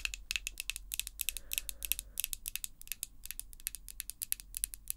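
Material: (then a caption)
Acrylic. Long pink acrylic false nails tap and scratch against each other up close. A rapid, uneven stream of tiny, bright clicks with no ring sits over a faint low hum, with a soft scratchy rustle between the taps.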